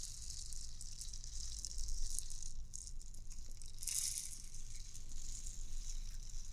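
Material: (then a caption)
Plastic. A transparent, hollow clear plastic bauble ornament with white beads inside is shaken and tapped with fingernails. The beads make a continuous bright, sizzling rattle over a steady low rumble, with a sharper burst of rattling about two-thirds of the way through.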